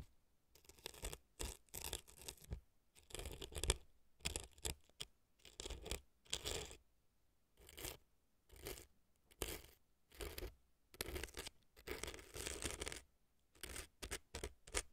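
A thin earpick scrapes and scratches dry floral foam inside the right ear canal of a silicone fake ear resting on a dry floral foam block. Short, dry, crackly scratching bursts sweep from low rumble up to bright hiss, separated by brief quiet pauses. The sound stays soft and close throughout.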